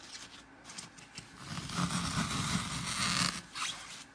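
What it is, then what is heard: Glitter-coated floral foam block. Fingertips with painted nails press into the front edge of a dry, porous, dark green floral foam brick coated on top in bands of blue, red, green, pink and purple glitter, crushing it and leaving wavy dents. A dry, crunchy scraping crackle with a bright, hissy texture swells through the middle of the clip, then tapers off after a brief final burst.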